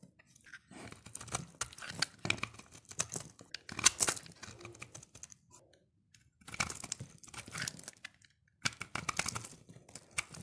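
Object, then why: Bar of soap shaved with a blade. A dark utility blade shaves crunchy flakes off a solid, dry pink soap bar held in the hand. Bursts of dry, bright scraping and crinkling crunches come in three runs separated by short silences, with a sharper crack near the four-second mark.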